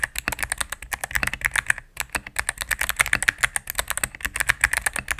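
A mechanical keyboard with all-cream plastic keycaps and a knob, sitting on a desk mat, is typed on rapidly with fingertips and long nails. About 39 crisp, short clacks with bright tops follow in quick succession, broken by one brief pause just before the two-second mark.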